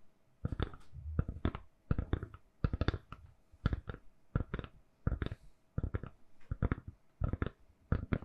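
Long nails tap and scratch a hand-sized, solid, lilac silicone-covered phone case on a phone. Quick clusters of soft, dull, low-heavy taps and brushing scratches come in bursts separated by short pauses. Each tap dies away almost at once against a quiet background.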